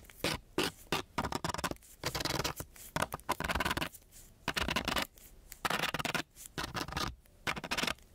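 A metal key, held by its green head, is scratched back and forth over a flat sheet of coarse-grit sandpaper. It makes repeated short, rasping scrape bursts with a bright, gritty hiss and brief pauses between strokes.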